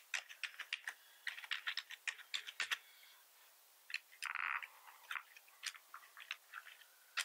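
Both hands type with their fingertips on a black plastic computer keyboard with red keys and a hollow body. Quick bursts of sharp, bright clicky key taps clatter with almost no low end, pause briefly around the three-second mark, and a short sustained rattle is heard in the middle. The typing then resumes in irregular bursts.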